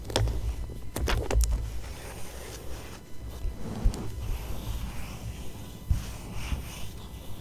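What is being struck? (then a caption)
Glossy paper magazine page. Fingertips and long nails scratch and rub the glossy paper page of an open fashion magazine lying flat on a fabric surface. Quick, bright scratching strokes come early, then give way to softer, continuous rubbing with a few sharper taps, all over a steady low rumble.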